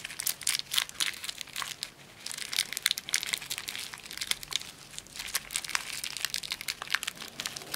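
A small, solid Premio chocolate wafer bar in a thin, crinkly plastic wrapper is held in both hands while the wrapper is torn open and crumpled with the fingertips, revealing the wafer inside. Bright, dense crackling and crinkling fills the clip in rapid, sharp bursts with almost no low end, each snap dying away instantly. Other wrapped candies lie untouched on artificial grass nearby.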